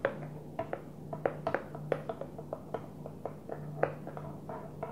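Fingers gently tap a Tupperware plastic food container in a quick, uneven series of soft, dry taps. Each tap gives a short, hollow mid-pitched knock that dies away almost at once, over a faint steady low hum.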